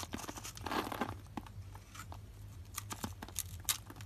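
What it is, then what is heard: Dry bar soap being scraped. A metal blade scrapes along the scored end of a solid rectangular lilac bar of dry soap held in the palm, shedding small soap cubes. A dense burst of crunching and crackling early on thins into scattered bright, sharp crunches and snaps over a faint low hum.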